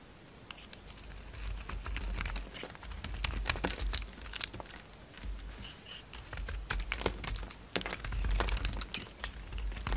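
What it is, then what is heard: Bar soap being shaved with a blade. A solid orange bar of soap held in the hand is shaved and carved with a utility knife blade, so flakes fall off. Dense, irregular, crisp scraping and cutting clicks with bright, short transients sit over a steady low rumble.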